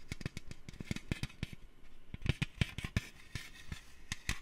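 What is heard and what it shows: A metal can is tapped with the fingers for ASMR, about twenty quick, separate taps in an irregular rhythm. Each tap is a short, dull knock with a low body around 113 Hz and a brief bright click on top, dying away almost at once.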